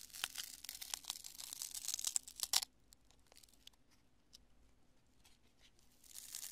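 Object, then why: Cured polyurethane spray foam lump. A fist-sized lump of cured polyurethane expanding spray foam, solid and porous, is crushed and squeezed between both hands and fingertips. Bright, dense crackling and tearing crunches fill the first two and a half seconds, then fade to sparse, faint crackles before building again at the end.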